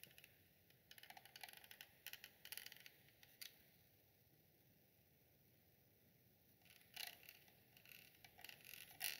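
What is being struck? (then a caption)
Perforated metal microphone grille. A thin green stick taps and scratches the perforated, hollow metal grille of a round black USB microphone of the Snowball type, which sits on a small tripod. Bursts of bright, crisp scratching and clicking come in clusters in the first three and a half seconds and again near the end, with a quiet hiss between them.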